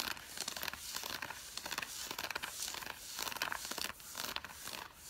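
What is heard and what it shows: Long fingernails of both hands scratch the fabric of worn grey drawstring cotton fleece sweatpants. A quiet, continuous run of rapid, crackly scratching strokes is heard, bright and hissy with almost no low end, like soft crinkling and tearing.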